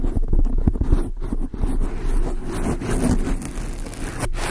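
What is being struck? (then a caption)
Foam microphone windscreen. Long acrylic nails on both hands scratch a large, soft, porous dark grey foam windscreen on a microphone. The result is a dense, muffled, low rumbling scrape that continues throughout with small swells and dips, with almost nothing bright above it.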